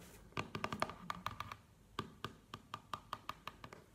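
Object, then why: Small cardboard box. A small, hollow black cardboard product box is held in the hands and tapped with long nails, making about twenty quick, dry clicking taps with a hollow tone near 1.2 kHz. The taps come in a fast cluster at first, then settle into a steadier rhythm, and each dies away almost at once.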